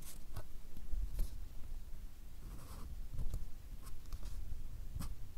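A fine-tip drawing pen scratches short strokes across a small, solid white paper or card pad held upright. The scratches come as brief, bright strokes over a steady low rumble, with quiet gaps between them.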